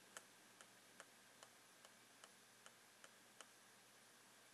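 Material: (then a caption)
Plastic. A blue pen taps along the side of a clear plastic box of rolled socks standing on its edge. Nine quiet, bright plastic ticks come about every 0.4 seconds, each fading almost instantly, over a steady soft hiss.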